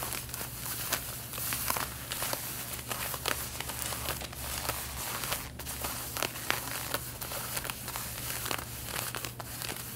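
Long red-painted nails scratch the front waist area of light blue denim jeans being worn, making quick, bright, rasping strokes that come in rapid, uneven bursts. The scratching is soft and close, with a faint steady low hum underneath throughout.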